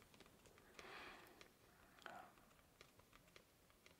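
A thin, flat sheet of solid white cardboard comic backing board is held steady in both hands while fingertips and nails tap lightly on it. The result is quiet, dry, irregular clicks with a papery, bright edge, plus two brief soft swishing swells in between.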